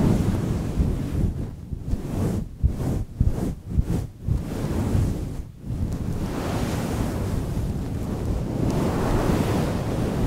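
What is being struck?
Synthetic fur microphone windscreen.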